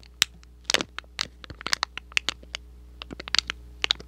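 A small red and white printed thin cardboard box, hollow and partly flattened, is scratched and crinkled with fingertips and short nails close to the microphone. Quick, irregular, bright crackling scratches and taps come one after another, each dying away almost instantly over a low steady hum.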